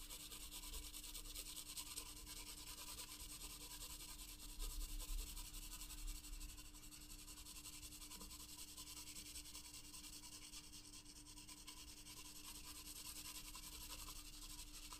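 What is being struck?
Graphite pencil on a paper sketchbook page.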